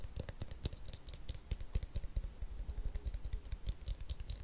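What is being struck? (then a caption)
Plastic detangling hairbrush. A blue hollow plastic detangling hairbrush is held close and its shell is tapped and scratched with fingernails. Quick, irregular, dry clicks and soft scratches come in a dense stream, each click short with a low thump and bright tick.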